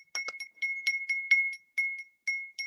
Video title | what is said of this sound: The Red Pill Piranha-Women's Illogical Stupid Desire For Secretive Men | It's got a nice ring to it.